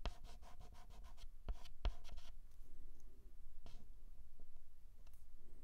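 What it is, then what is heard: Chalk writing on a chalkboard. A white chalk stick held in the fingertips scratches and writes small strokes on a flat black chalkboard. A quick run of dry, scratchy strokes comes first, followed by a few sharp taps and sparser, softer scrapes. Everything sits at a quiet level over a faint low rumble.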